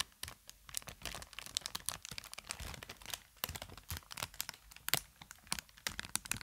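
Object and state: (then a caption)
Plastic air cushion packaging. Inflated plastic air-cushion packaging held by the microphone is crinkled and squeezed with fingertips and long nails. Dense, bright crinkles and sharp crackling snaps come in quick, irregular bursts, with brief quieter gaps between clusters.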